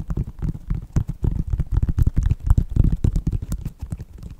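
Fingertips and nails tap and scratch the upper of a white Nike synthetic leather sneaker near the laces. Rapid, irregular, muffled low thumps come in a dense stream, with faint scratchy flecks reaching into the high range. The taps are short and dry, with no ring after each one.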